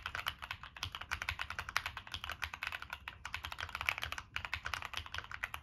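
Fingertips type continuously on a Monsgeek M1 mechanical keyboard with a black aluminum case, plastic keycaps and NK Cream switches. The result is a steady stream of quick, dry, bright clacks that stop short, with little low end and brief pauses between bursts.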